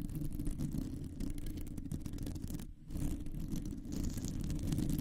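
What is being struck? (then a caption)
Metal mesh microphone grille. Long nails of both hands scratch across a round hollow metal mesh microphone grille, making a dense, rumbling, low-heavy scraping texture with faint bright edges. The scratching briefly drops out just before the three-second mark, then resumes and grows slightly louder toward the end.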